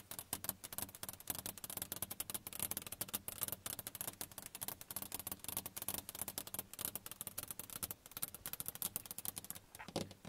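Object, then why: Glass car side window. Both hands with long nails tap rapidly on the closed passenger side window of a car, a large flat glass pane. The taps are dense, bright and clicky, each dying away almost instantly, over a faint low hum that runs steadily beneath them.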